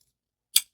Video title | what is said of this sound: IT'S So Difficult To Put This One Down : URBAN EDC CHIMARRA | It sounds, like, doesn't sound weak, doesn't sound like vibraty. It sounds really strong and very, very solid.